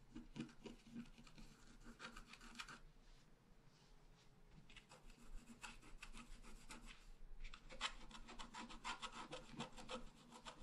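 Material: Coated paper.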